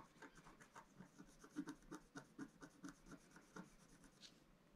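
A wooden stylus scratches repeatedly across a black-coated scratch-art card lying flat on a table, working near the drawn planets. Quiet, dry, rasping strokes come in a steady series of short bursts with a low-mid body and faint bright hiss, each stopping almost at once with no ring.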